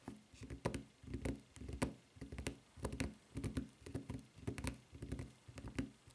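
Long nails tap rapidly on the footbed of a white rubber flip-flop with a red textured rubber strap. The taps are soft, dull and low, with faint bright clicks, coming in quick, uneven clusters. Each tap dies away almost at once.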